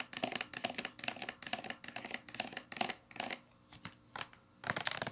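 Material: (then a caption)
Plastic. Long nails scratch and tap a hollow, medium-size teal plastic shampoo bottle held sideways, working over its printed label side and cap. Quick, bright, dry clicks and scratchy rasps come in dense bursts with short pauses between them, each hit dying away almost instantly with no low body.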